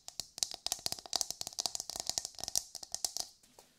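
A hollow, brown, fibrous coconut shell half held in both hands is tapped and scratched with long nails in a quick, uneven run of about 22 dry, bright clicks. Each tap dies almost instantly with a faint hollow tone and almost no low end, and the last few taps fade softer.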